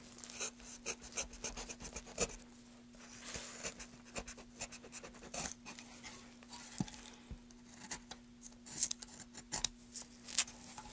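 A gloved hand scrapes and cuts into a solid, pale wooden board with carved channels using a carving knife, holding the board tilted in the other hand. Dry, bright scratching and shaving strokes come in quick, irregular bursts with sharp little clicks. A faint, steady low hum runs underneath.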